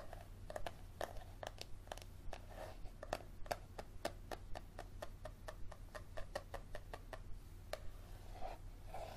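Fingernails tap and scratch along the leathery spine of a yellow paperback book held spine up. Quiet, sharp, dry clicks come in an irregular run, some with a soft hollow tone in the mid range, over a low steady hum.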